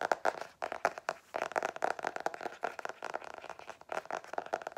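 Long nails rapidly tap and scratch the black-and-white geometric cardboard cover of a book-sized hardcover notebook held upright. The result is a dense run of dry, quick clicks and scrapes with a hollow midrange tone, little low end and almost no ring, broken by a few brief pauses.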